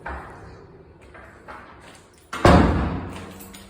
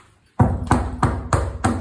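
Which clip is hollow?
The second.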